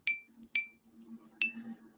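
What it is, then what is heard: Stiff PPS 3D-printed part with a metallic ring. A 3D-printed part made of PPS filament is flicked three times, each flick giving a clean, high-pitched metallic ting with a short ring afterward, over a faint low hum. It sounds like metal rather than plastic, as expected for stiff PPS.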